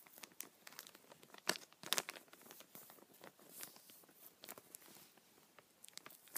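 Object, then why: Thin plastic bag. A small, empty, clear, thin plastic bag is held in both hands while the fingers crinkle and rub the film. The result is a quiet, steady stream of bright, crackly crinkles in irregular bursts, with two sharper, louder crackles near the middle and almost no low end.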